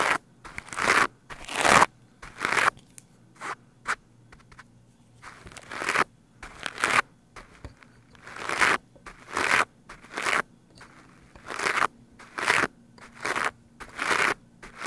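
The white plastic bristles of a green scrub brush are swept quickly and forcefully across a black foam microphone windscreen. The result is a series of loud, scratchy, crackling bursts at a fast, somewhat uneven pace. Each stroke is bright and airy, with very little low end, and the bursts are separated by short quiet gaps.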